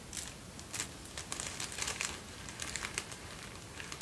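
A folded sheet of thin white tissue paper is handled at arm's length and then closer, crinkled and bent between fingertips. Soft, bright, crackly rustles come in quick uneven bursts over a quiet low background hiss.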